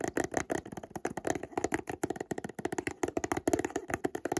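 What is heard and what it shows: A small, hollow, white printed cardboard Montblanc perfume box is held in one hand while fingertips and short nails scratch and rub across its glossy surface. The result is a rapid run of dry, crisp scratching taps with a hollow, boxy mid-range tone and very short decay.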